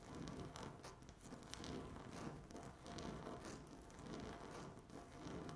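Long natural nails scratch across a flat, solid speckled laminate tabletop. The result is a steady, soft rasping that swells and fades in repeated strokes, with a low rumble underneath and brief bright scratchy streaks.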